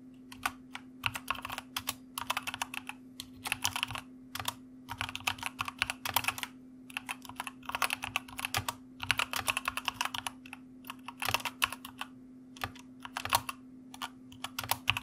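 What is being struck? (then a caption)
Plastic mechanical keyboard. Fingertips type on the backlit keycaps of a white plastic mechanical keyboard, producing bursts of quick, bright clicks separated by short pauses. A steady low hum runs underneath the whole clip.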